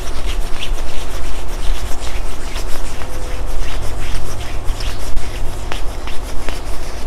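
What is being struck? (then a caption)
Quilted nylon puffer jacket sleeve. A hand rubs the padded upper arm sleeve of a black quilted nylon puffer jacket while it is being worn. The result is a steady, soft rubbing and swishing with a deep low rumble underneath and faint bright scratchy crinkles throughout.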